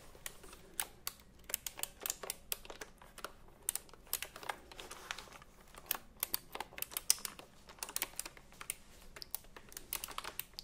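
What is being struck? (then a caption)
Typewriter-style computer keyboard with round plastic keycaps. A retro typewriter-style computer keyboard with round plastic keycaps is held upright in front of the microphones while fingers tap and press the keys. A steady, uneven stream of short, bright plastic clicks follows, each snapping off almost instantly with very little low end, against a quiet background.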